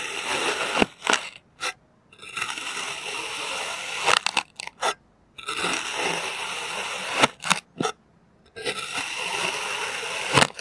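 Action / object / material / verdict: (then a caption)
scrape / kinetic sand cut with a plastic knife / sand / none. A clear plastic knife presses and scrapes through slices of green kinetic sand on a white surface. Long, bright, gritty scraping passages alternate with short sharp crunchy cuts and brief silences, with almost no low end.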